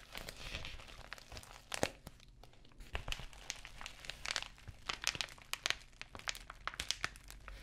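Long nails scratch and tap the bubbled plastic surface of an empty, flexible white padded poly bubble mailer, which crinkles as it is handled. Dry, bright crinkling runs throughout, punctuated by many sharp, short taps that die away almost instantly.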